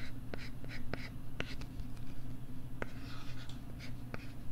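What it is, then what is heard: Plastic LCD writing tablet. A plastic stylus writes and scratches on a flat, thin pink plastic LCD writing tablet held close to the mic. Short, bright ticks and scratchy strokes sit over a steady low hum.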